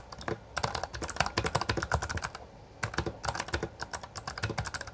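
Both hands type with their fingertips on a full-size backlit Bloody B820R mechanical keyboard with plastic keycaps. Rapid, crisp keystroke clacks with short, dry decay sound through most of the clip, with a brief lull just before the three-second mark before the fast typing resumes.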